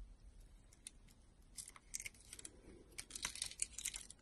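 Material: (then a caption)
Soap. A solid white soap bar with a red rim, held in a hand with long pink nails, has slices cut off it with a utility knife blade. The sound is a quiet series of short, crisp, bright scraping and crackling cuts that grow busier and louder toward the end, with almost no low end and no ring after each cut.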